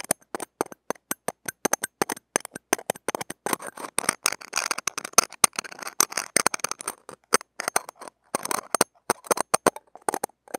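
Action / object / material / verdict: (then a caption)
scrape / steel mesh microphone grille scratched with steel tweezers / steel mesh / none. Stainless steel tweezer tips scratch and tap the small hollow steel-mesh ball grille of a mini microphone held in fingers. Dozens of sharp, dry, bright clicks come in quick bursts, with a denser stretch of scratchy rasping in the middle. Each tap stops dead with no ring and almost no low end.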